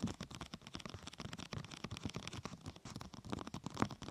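Long painted nails and fingertips tap and scratch the top of a large, thin, flexible purple translucent plastic protector sheet curved over a binaural microphone like a hollow tunnel. The result is a quiet, steady stream of soft, hollow, low tapping thuds mixed with brighter crinkly scratches, with each tap dying away almost instantly.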